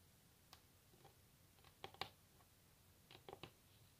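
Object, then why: Varnished wooden tabletop. Long natural nails of both hands tap a solid varnished wooden tabletop, recorded close-up. Sharp, bright clicks with a hollow mid-range knock come in scattered taps and quick clusters over a quiet background. Each tap dies away almost instantly.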